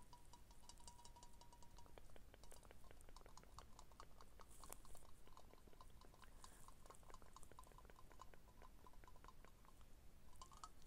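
A hand-sized Dettol aerosol disinfectant can, with a hollow, pressurized metal body and a blue plastic cap, is held close and tapped and traced with fingertips and short nails. Rapid, quiet ticking taps and scratchy tracing carry a faint metallic ring near 1 kHz over a steady low rumble.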